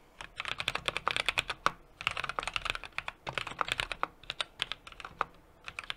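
Steady two-handed fingertip typing on a 60% mechanical keyboard with an aluminum case, brass plate and plastic keycaps. Rapid, sharp, bright clacks with almost no ring or low end come in quick bursts, separated by brief pauses.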